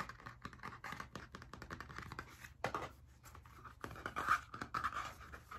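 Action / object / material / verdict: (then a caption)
scrape / hardcover notebook with spiral binding / cardboard / none. A blue spiral-bound hardcover notebook, held upright, has its cover and spine scratched and tapped with fingertips and nails. The result is a fast, dense run of dry scratching and tapping, with the sound centred in the midrange and many short overlapping strokes.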